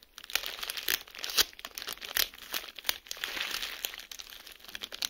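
A clear plastic bubble wrap sheet lies flat on a surface while bubbles are pinched with fingertips and pressed with the flat palm to pop them. Sharp, bright pops and snaps burst out irregularly over a steady crinkling rustle of plastic. The sound is thin and high with almost no low end.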